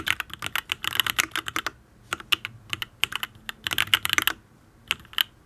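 Fingertips type on a full-size custom Matrix Ablex Penpen mechanical keyboard with an aluminium case, ABS keycaps and Tealios V2 linear switches. Quick runs of bright, short, clacky keystrokes come in bursts separated by brief pauses, each key dying away almost instantly with very little low end.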